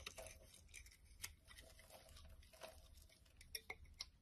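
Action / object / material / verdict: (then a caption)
scrape / bar of soap carved with a blade / soap / none. A utility knife blade scrapes and carves a solid pink and white striped bar soap held in the hand, with chunky pink-white shavings falling onto wood. Quiet, dry scraping runs throughout, broken by sharp, bright ticks as the blade bites and chips break off, over a faint low hum.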